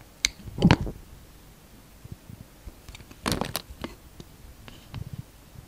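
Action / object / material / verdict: scrape / translucent soap bar / soap / none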